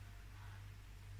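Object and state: Nothing is struck.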